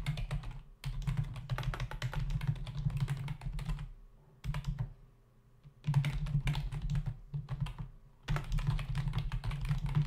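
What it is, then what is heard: Plastic computer keyboard. Both hands type with fingertips on a black plastic membrane computer keyboard with a hollow body and plastic keys, resting on a desk. Rapid runs of soft, clicky keystrokes with a low hollow thud come in bursts, separated by brief quiet pauses.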